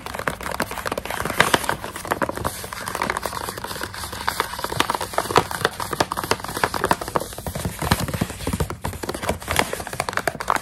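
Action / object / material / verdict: tap / plastic snack pouch of dried coconut strips / plastic / none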